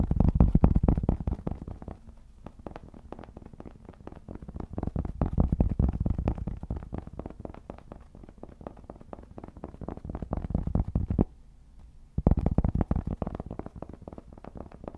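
Fingertips scratch and tap the surface of a round, solid cork trivet held close. The rapid, irregular taps and scratches sound dull and low, swelling louder in waves. They stop briefly for about a second before resuming.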